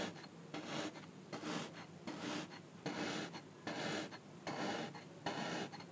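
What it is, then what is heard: Kinetic sand cube. A thin, dark, pointed tool repeatedly pokes and stabs the top of a small, solid orange cube of kinetic sand, adding more small holes. Each stab gives a soft, gritty, rasping crunch with bright grainy texture, repeating at a fairly steady pace, just under one per second, with quiet gaps between.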